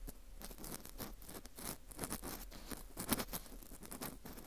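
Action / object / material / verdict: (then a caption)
scrape / dried wheat gluten fu ring scraped with a plastic earpick / wheat gluten / none. An orange plastic earpick scrapes inside and around the center hole of a dry, porous slice of dried wheat gluten fu ring. The result is a steady run of soft, crisp scratching and crunching with quick, dry patter-like clicks and bright edges over a low rumble.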